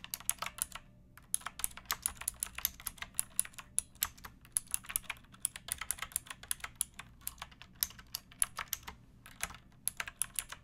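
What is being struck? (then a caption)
Plastic mechanical keyboard. Fingertips with long nails type on a pink backlit mechanical keyboard with plastic keycaps, resting on a wooden block. Quick, bright, clicky keystrokes patter in steady bursts with brief pauses, each click dying away almost instantly over a faint low hum.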